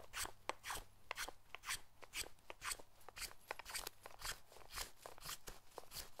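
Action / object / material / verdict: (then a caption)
scrape / hinoki cypress wood block shaved with a carving knife / cypress wood / none. A short carving knife shaves a solid hinoki cypress block with a rounded knob end, held in the hand, shaping a decorative pedestal foot for a Buddhist statue. About 20 quick, crisp, bright shaving crunches come at roughly two per second in a loose rhythm, each ending almost at once, with a faint low hum underneath.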